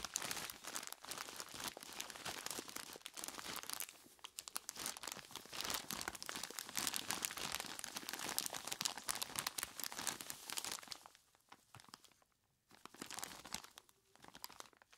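Hands in skeleton-claw gloves grip and squeeze a large clear plastic bag full of ice cubes, producing dense, bright crinkling and crunching that runs almost continuously for about eleven seconds. The sound then thins into quieter, intermittent crackles with a short burst near the end.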